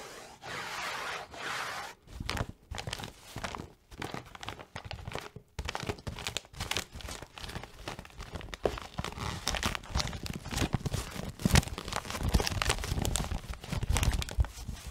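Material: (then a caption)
Cardboard. Long nails scratch and tap on the sides and top of a hollow, printed cardboard tissue box with a plastic-lined opening and tissues inside. A steady, bright scratching hiss opens the clip, then gives way to fast, irregular tapping. The taps are dull, hollow thuds with a crinkly, papery edge and almost no ring.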